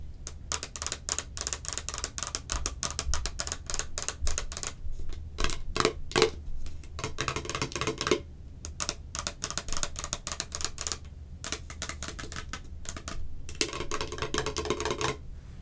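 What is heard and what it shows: Long acrylic nails rapidly tap and scratch the ridged sides of a hollow, hand-sized, clear plastic Cherry Coke can-shaped container held in both hands. The result is a dense stream of short, dry, bright clicks and scratchy bursts with brief pauses, over a steady low hum.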